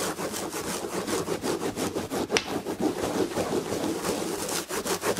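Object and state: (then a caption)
Scratching a fabric-upholstered chair back. Long red nails scratch the red-and-gold textured fabric upholstery on the back of a chair. The result is a steady, rapid series of soft, rustling rubbing strokes with bright, airy hiss. One sharper, brighter scrape stands out near the middle.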